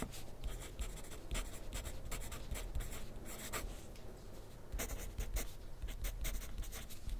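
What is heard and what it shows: A graphite pencil scratches across a thin sheet of grid paper on a clipboard resting on a desk while writing. Dry, papery strokes come in quick bursts of bright scratching over a steady low rumble, with short pauses between strokes and little ring after each.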